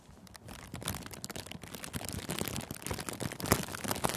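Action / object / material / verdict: shake / thin cellophane plastic sheet / cellophane / none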